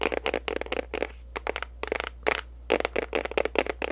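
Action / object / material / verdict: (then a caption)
tap / small printed paperboard box / cardboard / none. Long pink acrylic nails quickly tap and scratch a small, hollow-sounding pink printed paperboard gift box with a barcode, held up in the air. Bursts of dry, crisp clicking and scratchy rustling come in uneven clusters with short pauses, over a faint steady low hum.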